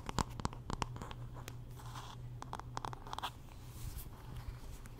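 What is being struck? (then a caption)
Wooden paddle hairbrush. Long nails scratch along the handle and back of a wooden paddle hairbrush as the brush is turned in the hand. Quiet, close scratching comes in short bursts with sharp, bright clicks and ticks over a steady low hum.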